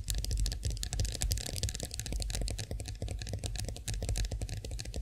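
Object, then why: Chrome-finished metal face roller handle. Long nails of both hands tap rapidly on the smooth handle of a chrome-finished face roller standing upright. The result is a steady flurry of short, bright clicks that die away almost instantly, over a low, soft rumble.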